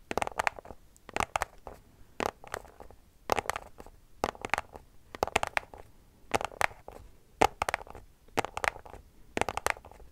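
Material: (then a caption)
Cardboard. A small white cardboard product box, held in both hands, is scratched and tapped with long nails. Short, dry, papery bursts of scratching and tapping come in rhythmic clusters across the clip, centred in the midrange with bright edges and little low end. Each sound stops dead with no ringing.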